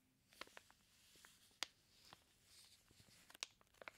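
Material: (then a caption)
Plastic film. Fingertips of a flat hand rub and scratch the clear plastic sealing a flat package of raw bacon slices. The result is a quiet, bright, crinkly rustle broken by six sharp, brief plastic clicks spread irregularly across the clip.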